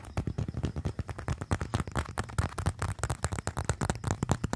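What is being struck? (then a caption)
Leather wallet. Fingertips tap and scratch quickly across a small, flat, slim brown leather wallet (or leather phone case) held up in both hands. The result is a rapid, dense stream of short, dull taps with a low thump and crisp scratchy edges. No verdict is given.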